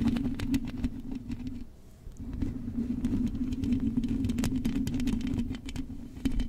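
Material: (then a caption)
Metal mesh. Long acrylic nails and fingertips scratch the hollow metal mesh grille of a silver microphone. A steady low hum near 230 Hz runs underneath rapid, irregular scratching and sharp bright ticks, briefly thinning out and dropping quieter around the two-second mark before the dense scratching resumes.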